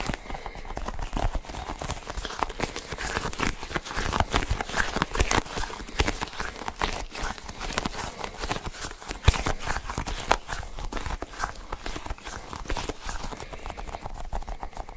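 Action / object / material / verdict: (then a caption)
tap / cluster of sticky rubber balls / rubber / none. A small, solid, hand-sized fidget toy made of several colored sticky rubbery balls joined together is squeezed and pulled by fingertips. A dense, steady stream of quick sticky pops and crackles runs throughout, with a soft low thump beneath the brighter peeling clicks.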